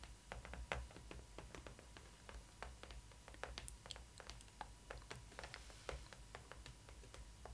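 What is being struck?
Cardboard box with a doll inside.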